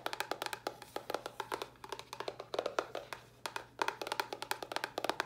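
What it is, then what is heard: Cardboard box tapped with nails. Long nails tap rapidly on a small, hollow white cardboard box with a red top. Dozens of quick, dry taps sound, each a hollow midrange knock with a bright click that dies away almost at once. The taps come in uneven bursts with brief pauses between them.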